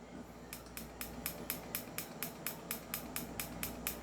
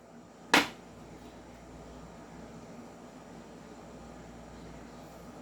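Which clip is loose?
The first.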